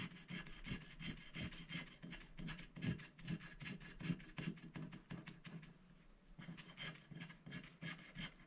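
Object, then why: Scratch-art paper scratched with a wooden stylus. A wooden stylus scratches the black coating off a flat scratch-art paper sticker sheet resting on a glass plate, working inside the sticker shapes. The result is continuous, rhythmic rasping strokes with a bright, papery hiss over a low body, easing briefly near the end before the scratching picks up again.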